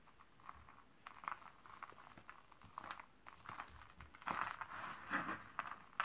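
A pile of thin, dry purple Camay Magique soap shavings is crushed, squeezed and rubbed with bare hands and fingertips on a white table. Soft, irregular crinkling crunches cluster in the mid-range, each dying out quickly, and they grow denser and louder in the last two seconds.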